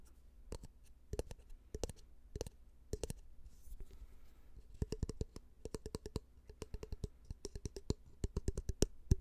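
A small, empty, clear glass jar with a black lid is held in the hand and tapped and rubbed with fingertips and nails on the glass and the lid. Dozens of short, sharp clicking taps come in quick bursts, broken midway by a soft, airy scratching rub. A faint low hum runs underneath throughout.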